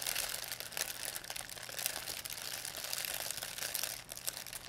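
A thin white plastic pharmacy shopping bag with red and blue print, crumpled into a ball, is crinkled and squeezed in both hands by fingers with long painted nails. The result is a steady, bright crackling and rustling with dense crisp crinkles throughout and almost no low end.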